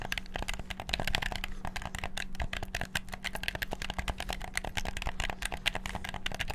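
Fingertips rapidly click the buttons of a hollow, black PS4-style plastic gamepad. A dense, fast stream of short, crisp plastic clicks with bright, clattery tops keeps going for the whole clip over a faint steady low hum.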